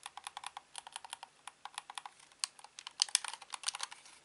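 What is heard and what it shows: A hollow grey-black plastic Xbox controller is held in both hands while its buttons and sticks are clicked with thumbs and fingertips. Quick, dry, bright plastic clicks come in an irregular, rapid string, each stopping instantly with no low-end body. A few sharper, louder clicks stand out near the end.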